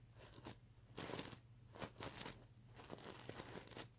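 Fingernails scratch across a mermaid unicorn pillow covered in plastic sequin fabric, flipping the sequins over. The result is bursts of bright, crisp crinkling and scraping that swell and fade with each stroke, separated by quieter rustling.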